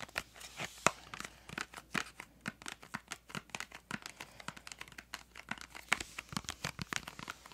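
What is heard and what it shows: Long nails tap and scratch the printed surface of a small yellow-green cardboard crayon box held up in both hands. A rapid, irregular run of dry, sharp clicks and crinkly scratches fills the clip, bright and quickly damped, with a few louder taps over a faint low hum.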